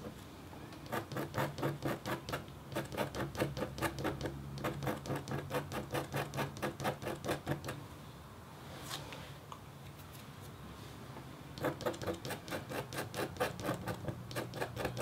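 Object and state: Copper scratch art board being scratched.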